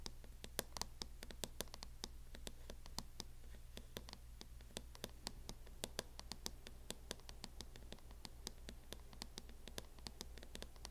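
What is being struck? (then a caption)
Plastic hard-shell case on a laptop. Fingernails scratch and tap rapidly along the front edge of a mint matte plastic hard-shell case fitted on a closed MacBook. The result is a dense run of short, dry, bright clicks with light scratching between them, over a steady low hum.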